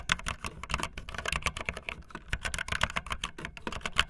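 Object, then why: Plastic mechanical keyboard with plastic keycaps. Fingertips with long nails type fast on a backlit optical linear mechanical keyboard with white and blue plastic keycaps. The result is a rapid, continuous stream of short, bright plastic clicks centered around 3 kHz, with a soft low thud beneath each keystroke and almost no ring.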